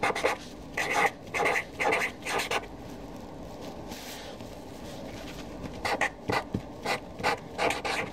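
A Sharpie felt-tip marker writes a new column of names on a white paper sheet resting on a desk, its tip rubbing and rasping across the paper. Short, bright scratchy strokes come in quick bursts, then a quieter stretch of faint hiss, then another run of strokes.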